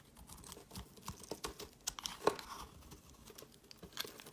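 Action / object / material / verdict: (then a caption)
scrape / bar of soap cut with a knife blade / soap / none. A solid white bar of soap held in the hand has chunks carved off with a knife blade. A quick series of dry, crisp scraping and cutting snaps with soft crumbly crunches is heard, mostly in the mids and highs with a few sharper, brighter cuts. Each sound stops almost at once, with no ring.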